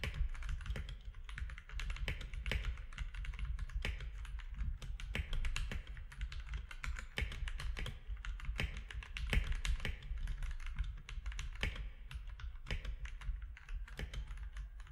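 A compact mechanical keyboard with gray and cream plastic keycaps, orange accent keys and a hollow case, sitting on a desk, is typed on steadily with the fingertips of both hands. Quick, dense clicky keystrokes carry a hollow low thump under a bright, short tick, with no long pauses for the full fifteen seconds.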